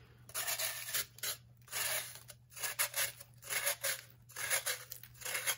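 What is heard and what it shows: A metal knife shaves layers off the face and lower edge of a solid, hand-sized, blue-tinted pressed baking soda block, and powder crumbles onto the table. The sound is a series of short, dry, bright rasping scrapes in uneven bursts, separated by brief near-silent gaps, over a faint steady low hum.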